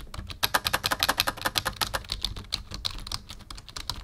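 Fingertips of both hands type on a black full-size plastic membrane keyboard with a numpad resting on a wooden desk. Quick, irregular keystrokes make short, bright clicky taps with a faint low thud beneath. The taps are loudest and most distinct in the first two seconds, then grow softer and more clustered.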